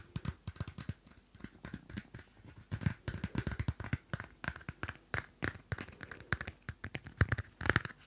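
A small pocket Field Notes paper notebook with a cardstock cover has its cover scratched with long nails and its pages flicked. The result is a quiet, rapid series of short, dry scratches and papery flicks with almost no ring, mostly low thuds with some brighter rasp.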